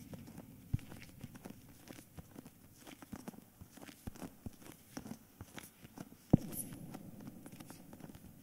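Fingertips and short nails tap and scratch the front cover of a solid, medium-sized S. Fischer hardcover book in a cream paper dust jacket, held upright. It makes a steady run of soft, dry, low taps mixed with papery scratching and crinkling, with two sharper, louder knocks standing out. The taps stop dead with no ring.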